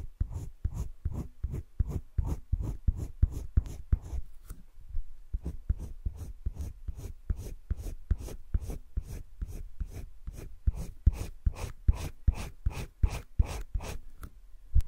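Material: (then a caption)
Paper. A green colored pencil scratches shading strokes around an inner circle on flat cream drawing paper in a wire-bound spiral sketchbook. The strokes come as a rapid, steady series of short, dry scratches, with a brief pause near the middle before the rhythm resumes.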